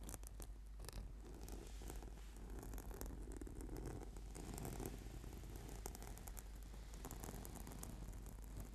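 Fingernails scratch and fingertips tap on a flat, purple, sticky PVC/foam yoga mat. The result is a quiet, continuous scratchy rustle, heavy in the low end, with faint bright ticks scattered throughout.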